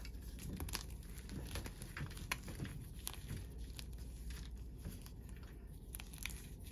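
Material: Chalk.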